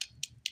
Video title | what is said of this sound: The Daily Nail: Pink & Green St. Patrick's Day Dip Nails ft. Luxie Nail #Nails #dipnails #diynails | you hear like a hollow sound that doesn't even sound that Hollow to be honest these ones sound good